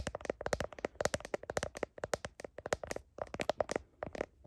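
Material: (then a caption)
Plastic. Long nails tap quickly on the back of a smartphone in a blue plastic heart case, picked up by the phone's own microphone. A rapid, uneven run of sharp, dry clicks with a hollow tone near 600 Hz, each dying out almost instantly.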